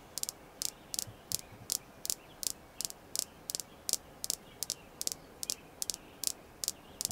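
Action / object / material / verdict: tap / small polished red jasper stone / jasper / none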